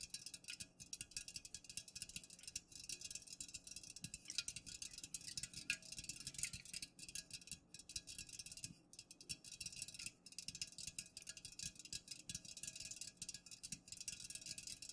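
Long nails tap fast and continuously on the sides of an unopened, full Pepsi aluminum can standing upright. The result is a dense stream of quick, bright, clicky taps with very short ring and little low end, over a steady high-pitched hiss.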